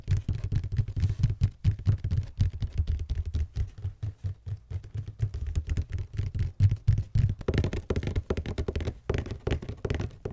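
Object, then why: Cardboard shoe box. A hollow red cardboard Vans shoe box is tapped and knocked with fingertips and nails in quick, uneven bursts of short, low, hollow thuds that die away almost at once. Toward the end, the taps turn brighter and clickier.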